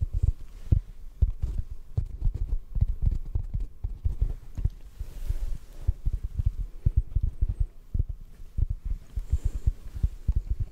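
A rectangular, hand-sized, solid yellow porous foam sponge is held in the hands and tapped with the fingertips. The result is a steady run of soft, muffled, very low thumps with almost no ring, all deep in the bass with nothing bright.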